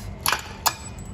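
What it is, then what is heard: Hydrogen-charged steel sample, brittle. A hydrogen-charged steel sample is struck with a hammer, giving two short, bright clinking hits close together. The sharp metallic clicks die away almost instantly with no ringing, showing the steel has become brittle, unlike the hydrogen-free sample, which only bent.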